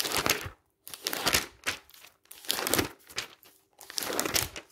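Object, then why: Glossy paper magazine pages. Fingertips rapidly turn and rub the pages of a thick glossy paper magazine lying open on a stack. The result is bright, crisp crinkling and swishing bursts, with brief near-silent gaps between page turns.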